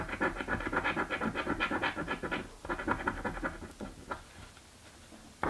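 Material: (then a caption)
Paper. A coin held in the fingers scrapes the scratch-off coating on a purple paper scratch-off lottery ticket lying flat on a table. Bursts of dry, gritty rasping repeat for about two and a half seconds, pause briefly, then resume more lightly and fade into faint scraping. The clip ends with one louder scrape.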